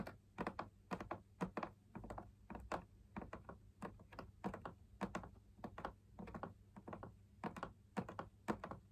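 Fingertips tap the outside of the perforated fabric wall of a fabric-laminated drum lamp shade in close view. About 37 soft, dull, papery taps land at an uneven pace, each dying away almost at once over a quiet low hum.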